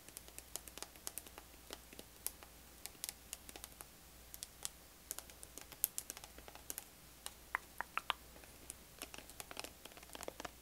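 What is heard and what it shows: Long acrylic nails tap and scratch the sides of a small, hollow orange plastic body lotion bottle with a black flip cap, held in hand. Many quick, sharp, bright clicks come in an uneven rhythm with soft scratching between them, each tap dying away almost instantly over a faint steady low hum.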